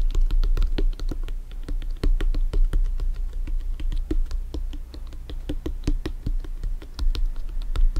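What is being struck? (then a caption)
Inflated synthetic leather soccer ball. A full-size inflated hollow soccer ball with stitched synthetic leather panels rests on a table and is tapped and scratched on top with bare fingertips and nails. Quick, dry taps land in a busy, uneven stream over a deep hollow thump, with sharp, bright clicks from the nails. Each tap dies away almost at once.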